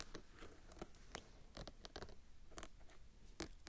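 A fingernail and fingertip scratch and rub along the gold trim, black embroidered band and fabric edge of a rust-orange silk or taffeta dress bodice worn on a form. The result is a quiet run of short, dry scratches and soft rubbing with crisp, bright edges over a low, muffled rustle.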